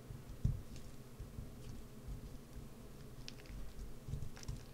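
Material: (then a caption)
Soap. A solid green bar of soap is held in one hand while a wood-handled carving gouge digs and scratches into its top surface, throwing off curls of soap. The result is a quiet, low, muffled scraping and soft patter, with a sharper dull knock near the start and faint bright scratchy flecks throughout.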